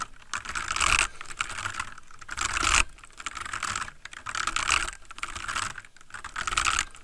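Fingertips of both hands type rapidly on a full-size backlit plastic mechanical computer keyboard with a palm rest, sitting on a wooden desk. Bright, dry clacking key taps come in dense bursts that swell and fade every second or so, each tap stopping short with no ring.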